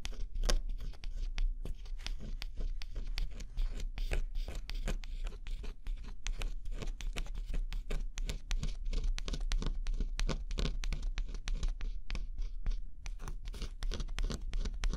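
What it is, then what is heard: Scratch-off cardboard jigsaw puzzle. A thin pointed scraper stylus, pressed under a fingertip, scratches the black scratch-off coating from a flat cardboard jigsaw puzzle. Dense, rapid, dry scraping strokes crackle and rasp with brief bright edges, over a steady low rumble that carries most of the energy. The scratching continues steadily for the whole clip.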